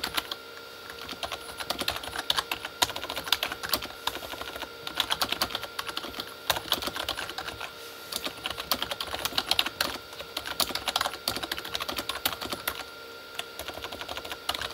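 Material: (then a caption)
Plastic. Both hands type with their fingertips on a full-size Corsair K35 backlit mechanical keyboard, with plastic keycaps on a hollow plastic body. A continuous run of quick, bright, hollow plastic clicks and taps dies away almost instantly. A faint steady tone runs underneath.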